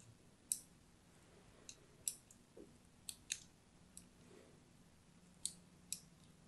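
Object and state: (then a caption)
Soap bar being scored with a blade. A thin blade scores diagonal lines into the surface of a solid orange-and-white striped soap bar held upright in the hand. Nine short, crisp, bright scratching clicks sound at uneven intervals, each fading almost at once, over a quiet, soft background.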